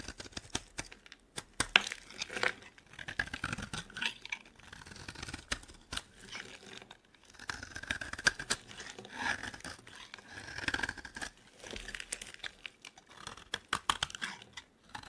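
A metal blade cuts and shaves pink flakes off a solid, palm-sized pink bar of dry soap held in the hand. Dense, crisp scraping and crackling strokes come in quick bursts with short pauses between them. The sound is bright and brittle, with almost no low end.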